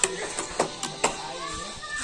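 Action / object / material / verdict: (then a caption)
knock / old rusted iron cannon / cast iron / none. An old, rusted iron cannon, centuries old and looking like wood or a coconut stump at a glance, is knocked by hand four times. Each knock is a short, dry tap with a brief bright ring that dies away almost at once, over a steady low background murmur. The knocks confirm the cannon is iron, not wood, and it is too heavy to lift.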